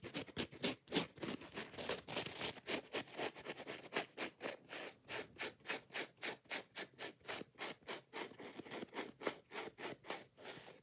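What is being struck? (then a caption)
Foam kitchen sponge with scouring pad. Long nails quickly scratch and tap the soft yellow foam side of a kitchen scrub sponge with a scouring pad. About 31 short, bright, hissy scratching bursts come in a fast, uneven rhythm of roughly three or four per second. Each dies away almost at once, with almost no low end.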